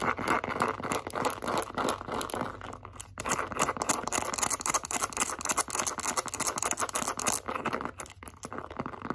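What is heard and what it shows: Long acrylic nails scratch and tap the edge and face of a light-blue pebbled leather zip wallet. The result is a fast, dense run of crisp, dry scratching and clicking with a crinkly, bright texture, keeping up a steady busy pace for about nine seconds.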